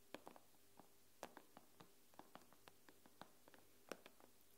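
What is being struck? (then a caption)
Tablet glass screen. Long pink-painted nails tap and scratch the black glass screen of a thin, solid iPad tablet lying flat with its screen facing up. About sixteen quiet, sharp clicks come at uneven intervals and die away almost instantly, with soft scratchy touches between them over a steady low hum.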